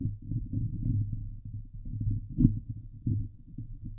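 Long glitter nails of both hands scratch the hollow steel mesh grille of a Blue Yeti microphone. The result is a dense, muffled, low rumbling scrape with a steady hum around 110 Hz and almost no high end. It swells and dips continuously, with a sharper, louder scrape about halfway through.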